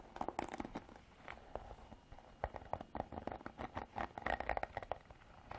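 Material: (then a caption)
Plastic. Long artificial nails scratch through the black bristles of a plastic-bodied paddle hairbrush. The result is a quiet series of rapid, dry crackling scrapes with a faint tonal ring near 780 Hz. The scrapes come in irregular bursts over a few seconds.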